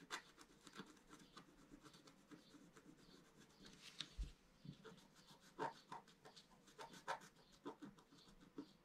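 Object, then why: Black-coated scratch-art paper sheet on a table. A pointed wooden stylus held in the fingers scratches across a flat, A4-sized black-coated scratch-art sheet over rainbow foil lying on a table. Quiet, dry scraping strokes come in short irregular bursts, with brief bright rasps rising above a soft, steady scratchy bed.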